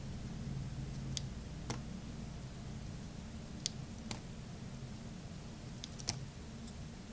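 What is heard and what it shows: A solid purple bar of soap held in the hand is carved with a metal blade that cuts slivers off its side. Seven short, bright, crisp clicks and scrapes ring out over a steady low background hum.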